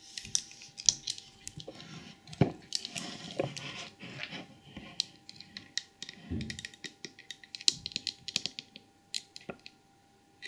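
Long acrylic nails tap and scratch the glazed head, ears and trunk of a small, hollow, white glazed porcelain elephant trinket box with a painted red and gold lid. Quick, bright clicking taps mix with softer scraping strokes, each sound dying away almost at once. A faint steady tone runs underneath.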